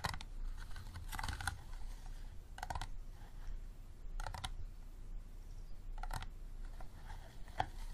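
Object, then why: Empty plastic water bottle. An empty, clear, unlabeled, hollow plastic water bottle stands upright while fingernails tap rapidly on its sides. Bursts of quick, light clicking taps with a mid-range tone recur over a low, steady background rumble.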